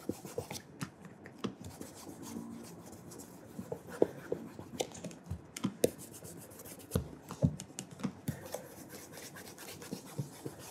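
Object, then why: Leather dress shoe. Bare fingertips rub polish across the brogued upper of a burgundy calf leather oxford, held upright with a wooden shoe tree inside. Quiet, soft rubbing and scratchy friction is broken by frequent small clicks and brushes of skin on leather, with most energy low and little brightness.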